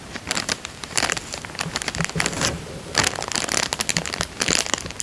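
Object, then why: Thin plastic coin bag. Fingertips press and crinkle a small, thin, clear printed plastic bank coin bag lying empty and flat on a ribbed fabric couch. The result is a run of sharp, bright crackling bursts with quick rustles between them. The sound is mostly high, with little low end.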